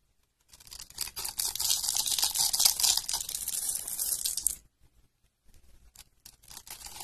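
A metal utility-knife blade scrapes across the pre-cut grid of a solid, palm-sized, blue and white striped dry soap bar held in the hands. A dense, bright, crunchy crackling runs for about four seconds as a cascade of small cubes breaks away. After a brief pause, sparser, softer crackles follow.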